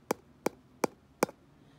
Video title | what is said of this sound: zaváranie na chalupe | Ak to robí iný zvuk, hej, napríklad takýto, tak vieme, že to nie je dobré